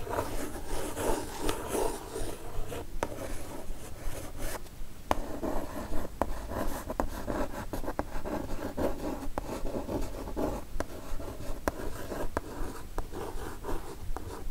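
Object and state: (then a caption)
Kraft cardboard mailer box. A single long nail scratches and traces across the printed surface of a kraft cardboard mailer box. The result is a continuous dry, papery rasping with many short, sharp scrape accents. The sound is mostly low and dull with little bright content.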